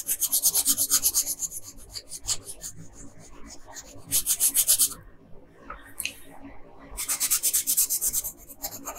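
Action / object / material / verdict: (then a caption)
scrape / colored pencil on a paper sheet / paper / none. A pink-red colored pencil rubs back and forth across a flat paper coloring page, shading the lower part of a drawn dress. Bright, scratchy rasping strokes come in three busy bursts separated by quieter, softer scratching.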